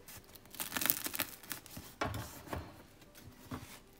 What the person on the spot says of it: ekmeklerin şu çıtırtısı dinleyin lütfen